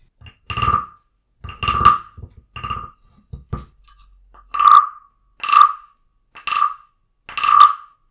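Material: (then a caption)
Wood. A small carved wooden frog guiro with a ridged back rests on a book, held by a hand with long nails, and is tapped with a wooden stick. It gives hollow, woody knocks with a clear pitch near 1.2 kHz and a short ring. The knocks come in irregular pairs and clusters, some soft and some louder, with brief silences between them.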